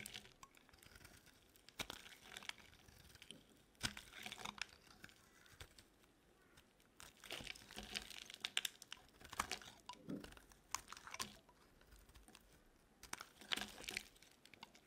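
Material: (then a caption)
Soap. A metal blade slices and scrapes slabs off a solid red bar of dry soap held in the hand. Quiet, bright, crisp crunching and crumbly scraping come in irregular bursts, with short pauses between cuts.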